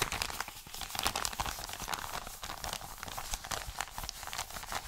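An Amazon kraft-paper padded mailer is crinkled and rubbed flat with the fingers of both hands. The result is a steady, dense stream of bright, crackly paper crinkles and rustles with quick, dry snaps that stop almost instantly.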